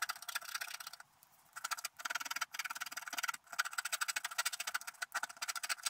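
A wooden stylus scratches away the coating of a flat wax-coated scratch-art card to reveal a figure on the lower right while the other hand steadies the card. Rapid, dry, bright scratching strokes come in bursts, with a short quiet pause near the start and brief gaps between runs. There is no low rumble, only a thin, gritty rasp.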